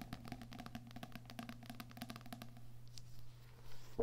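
Fingernails and fingertips tap and scratch the back cover, then the front card cover, of a small "Heart Thoughts" paperback book lying flat. A quick run of light, dry taps gives way to softer scratching over a steady low hum.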